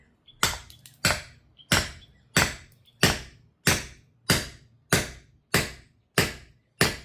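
A hammer drives a chilled steel bearing race through a race press into the hub of a Tritan double jet ski trailer wheel, with eleven heavy, evenly spaced strikes about every 0.6 seconds. Each blow is a short, dull thud that dies away quickly, showing the race has not yet seated against the bottom of the hub.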